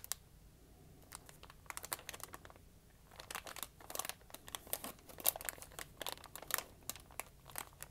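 A small folded and creased sheet of lined notebook paper is held in the hand and crinkled with fingertips that have dark-painted nails. It makes quiet, bright crackles and crisp snaps in uneven bursts, with brief pauses near the start and around the third second, over a faint low hum. The bursts grow denser and louder through the second half.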